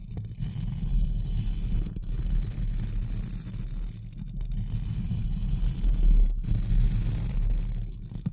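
Two pink spoolie brushes are rubbed and scratched across both sides of a hollow, round metal mesh microphone grille. The result is a continuous, muffled rumbling scrape concentrated in the deep low end, with a steady low hum and a few brief dips where the brushing pauses.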